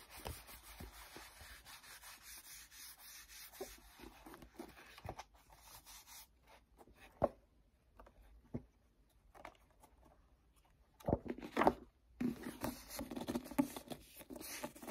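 A paperback book has its pages flipped and riffled, then its cover is rubbed with fingertips. Soft, papery rubbing and brushing textures are broken by sharp page-flick snaps, with a louder cluster of rustling near the end.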